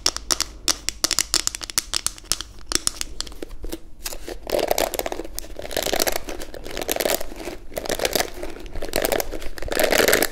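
A palm-sized pink plastic detangling hairbrush with a hollow back and bristles underneath is held in both hands and tapped and scratched on its smooth back with long acrylic nails. Quick, sharp clicking taps come first, then give way to denser, brighter scratching and crinkly rasping with a hollow, mid-pitched tone, and each sound stops almost instantly.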